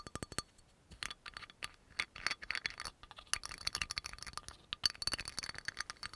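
Fingernails rapidly tap and scratch the black cap and glass shoulder of a dark brown amber glass oil bottle with a yellow label. The result is a fast run of sharp, bright clicks and dry scratching, with a faint high ring and almost no low end. The taps come in quick clusters with brief gaps between them.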